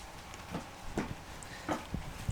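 On a stopped GU Patrol 4WD, the aftermarket 3-inch steel Dominator exhaust pipe knocks against the side of the steel tow bar. A series of short, dull metallic knocks rattles through low engine rumble. The rattle is a fault caused by the pipe hitting the tow bar.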